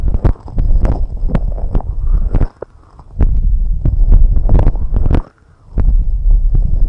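Long red nails steadily scratch and tap on both white silicone rubber microphone ear covers. The result is a close, muffled stream of deep thuds and rubbing with sharp clicky taps on top, broken by two short quiet pauses.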